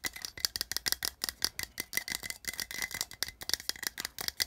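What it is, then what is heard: Metal tin can. Fingernails rapidly tap the side wall of a small, hollow, printed metal tin held upright in one hand, producing 26 quick, dry, clicky taps over about four and a half seconds. The taps are bright and rattly, with a faint tinny tone near 2 kHz, almost no low end, and each one dies away instantly without ringing.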